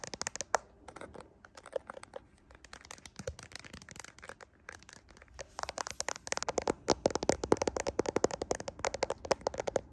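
Fingernails tap and scratch the rear camera area of a handheld smartphone with a glass back, metal frame and camera lenses. Dry, crisp clicks and scratchy crinkling snap in with almost no ring, scattered and quieter at first, then growing denser and louder in the second half. The sound is thin and bright with a faint mid-pitched tone and almost no low end.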